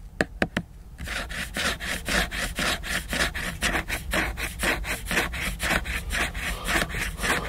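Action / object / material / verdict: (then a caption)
scrape / laminated paper book cover / laminated paper / none. Fingernails tap three times on the glossy laminated cover of a large picture book, then scratch back and forth across it in a steady rhythm of bright, raspy strokes until the end.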